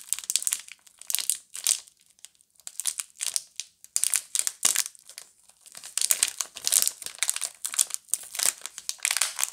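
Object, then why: Plastic film wrapping around bar soaps. Fingers and long nails pick at the seam of a pink Camay plastic-film multipack of bar soaps, rubbing and crinkling the film while opening it. Bright, dry crinkling comes in irregular bursts with short pauses and almost no low end.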